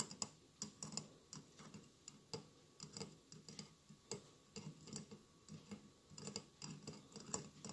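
Fingertips and nails tap the tiles of a hollow glass mosaic votive candle holder with a lit candle inside. The result is a quiet, irregular run of short, bright clicks with almost no ring, over a faint low background.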